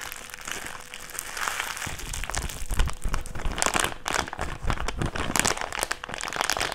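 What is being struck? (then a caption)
Thin clear plastic bag. An empty, thin-walled, hand-sized thick clear plastic bag is crumpled and squeezed between fingertips and palms. It produces dense, bright crinkling and crackling with soft low thumps from the handling. The sound starts quieter and grows fuller and louder after the first couple of seconds.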